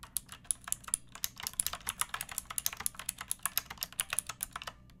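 Fingertips with long nails type continuously on a pink backlit plastic mechanical keyboard with round plastic keycaps. About 32 quick, sharp, bright clacks come over five seconds, each very short with almost no low end. The result is a steady, quiet, crisp patter of keystrokes.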